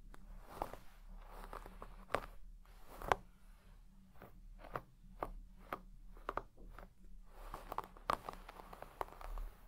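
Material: Textile.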